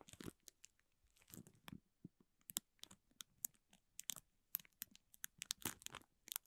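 A spoolie brush scratches and brushes across the clear plastic film wrapped around a small green toy. It makes a rapid series of short, bright crinkling and scratchy bursts with faint low thumps, each cutting off almost at once.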